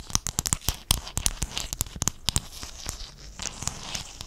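Fingernails scratch and tap across a sheet of small silver-blue hexagon mosaic tiles, held in one hand beside the mic. Quick, bright clicks and taps come in an uneven run, with raspy, crackly scraping filling the gaps. The sound is close, quiet and dry, and each tap dies away almost at once.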